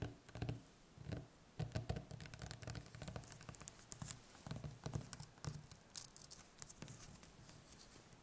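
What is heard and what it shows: Long nails tap rapidly on the smooth skin of a large, whole, solid, firm butternut squash lying on a wooden table, with plastic wrap over one end but the nails staying on the skin. The taps come as quick, uneven bursts of soft, low, hollow thuds with bright, clicky nail edges. Each one dies out almost instantly, leaving a dry, quiet patter.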